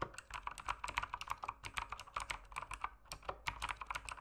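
Fingertips type rapidly on a full-size backlit mechanical keyboard with plastic keycaps sitting on a desk. A quick, uneven stream of short, sharp clacks, each centred around 1 kHz with bright clicky tops and little low end, dies away almost instantly.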